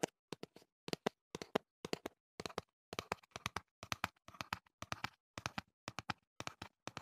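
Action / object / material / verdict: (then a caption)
tap / small cardboard box / cardboard / none. A slim, hollow, hand-sized teal printed cardboard earplug box is held in one hand close to the microphone and tapped and handled with the fingertips. Quick clusters of light, dry, hollow taps come in bursts separated by brief silences. Each tap stops instantly with no ring.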